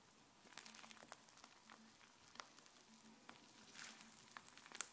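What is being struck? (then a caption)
Fluffy white slime. Fluffy white slime is stretched into sheets and then pressed down with the fingers against the countertop. It makes quiet, bright crackling squishes with many short pops and snaps over a soft hiss, and a faint low hum comes and goes underneath.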